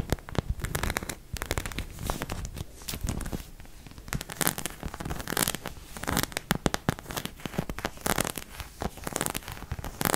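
Long fingernails rapidly tap and scratch the back of a white plastic acupuncture figure. The result is a dense run of short, dry clicks and crackly scrapes with bright highs and no ring.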